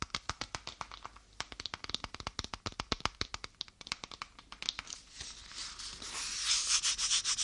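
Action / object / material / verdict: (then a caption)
scrape / small faux leather wallet / faux leather / none. Long painted nails scratch and tap rapidly across a small lilac-grey faux leather wallet with a clasp, held in one hand, making a quick run of crisp, bright clicking scratches. About two-thirds of the way through, the taps blur into a continuous, brighter rubbing hiss that swells toward the end.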